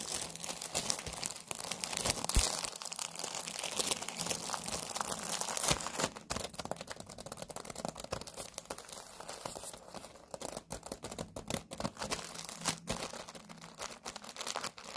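A pack of Halloween paper napkins in a clear plastic wrapper, lying flat on a table, is tapped and scratched with long nails. The result is a dense run of quick crinkly taps and bright, hissy scratching across the plastic. It is louder in the first six seconds, then softer and more broken up.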